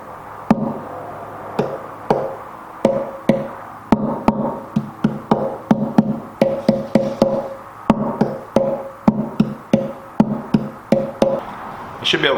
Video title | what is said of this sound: The Upcycled Acoustic Guitar 3 - Top, Bracing, and Saddle | it's got a nice tap tone you can hear three different tones within the guitar top